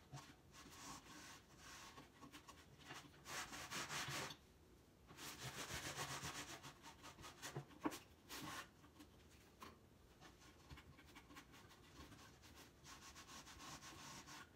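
A sanding pad or cloth is rubbed across the wooden top of a large, empty, hollow wooden crate stand with an X-brace side panel, while one hand steadies the crate. It makes dry, scratchy, bright swishing strokes in uneven bursts, with brief quiet pauses between passes.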